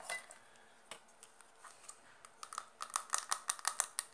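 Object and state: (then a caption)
Plastic makeup compact tapped with nails. Long dark nails tap fast on a small, round, dark blue plastic makeup compact that is hollow and closed. Scattered, light clicks give way to a quicker, louder run of sharp, dry taps with a bright, hollow plastic tick and no ring.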